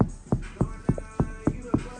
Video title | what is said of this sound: 2025 Honda Jazz Full Soundproofing Package with an Audison Sub Upgrade | That was even tinnier last time, and you can hear it just sounds solid.